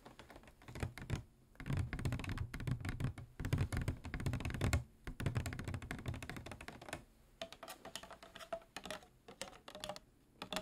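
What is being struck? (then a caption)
Plastic water bottle with water. A medium-size clear PET plastic water bottle with a white cap, hollow with water inside, is tapped and lightly scratched with fingernails. Quick, irregular clicking taps come in dense flurries with a soft, low thump beneath them. Later the taps grow quieter and more scratchy, with a faint tonal ring.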